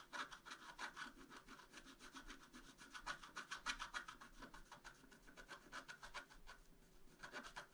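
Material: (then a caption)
Coated paper. A wooden stylus scrapes long, rapid strokes across a flat black-coated scratch-art card. The result is a dry, bright, raspy scratching that comes in quick, uneven bursts of several strokes per second, with a steady hiss centered around 1.5 kHz and little low end.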